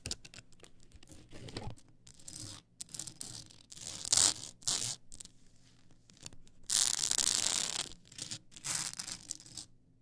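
Long acrylic nails scratch along the ridged edges of a tall stack of blank polycarbonate CD-R discs on a plastic spindle. The result is bright, raspy scratching in uneven bursts and short strokes with brief pauses between. The loudest, longest scrapes come just after four seconds and from about seven to eight seconds.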